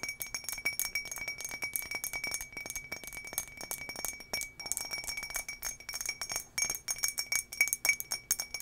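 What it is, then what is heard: Glass drinking tumbler tapped with fingernails. Long nails tap quickly on an empty, hollow turquoise embossed glass tumbler held in both hands. The result is a rapid, irregular stream of bright, short clinks with a clear ringing tone near 2.3 kHz and almost no low end. Each clink dies away almost immediately.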